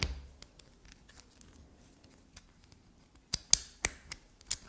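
A solid black soap bar held between the fingers is scraped and tapped with long black nails, leaving soap residue on the nails. Soft, crisp scratching ticks come through, then sharper bright taps near the end.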